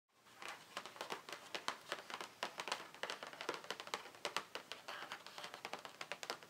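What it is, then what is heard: Cardboard box tapped with fingernails. Long painted nails of both hands tap quickly on a closed, hollow, printed cardboard Ciaté nail polish advent calendar box, about 30 cm wide, lying flat on a wooden table. The taps form a steady run of bright, dry clicks with almost no low end and no ring.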